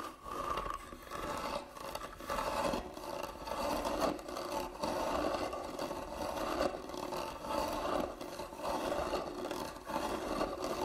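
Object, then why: Hand-carved wooden box. Long nails scratch and rub across the carved lid of a medium, hollow, closed hand-carved wooden box. The result is a continuous, uneven rasping scrape, with a dry midrange tone and repeated strokes that swell and fade without settling into a steady rhythm.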